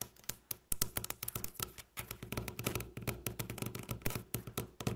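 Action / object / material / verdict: tap / wooden tabletop tapped with fingernails / wood / none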